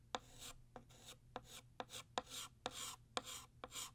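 Blue chalk retraces the outline of a ribbon tail on a flat black chalkboard in scratchy writing strokes. Eight sharp taps of chalk meeting the board each lead into a short, bright, hissy scrape.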